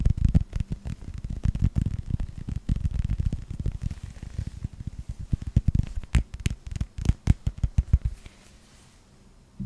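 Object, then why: Hollow rubber toy ball. A hand-sized, hollow yellow rubber toy ball in the Pixar style with a red star is tapped with fingertips, first in front of and then below the mic. The result is soft, dull, low thumps in quick, busy runs that thin out into more spaced taps. They fade to near silence just before the end.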